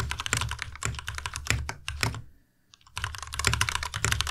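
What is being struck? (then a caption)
Plastic mechanical keyboard. A white tenkeyless Ducky Miya Pro mechanical keyboard with plastic keycaps and Cherry MX Red switches, resting on a desk mat, is typed on with the fingertips of both hands. Rapid, bright plastic key clacks ride over a low thock, with a brief pause in the middle before the typing resumes.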